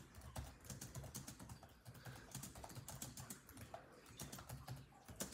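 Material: Plastic.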